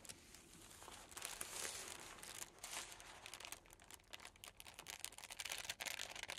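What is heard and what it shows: A large flat sheet of green tissue paper is lifted and smoothed by fingertips, then metal scissors begin a new cut. The sound is soft, bright crinkling, followed by quick, irregular snips and rustles with a crisp high hiss.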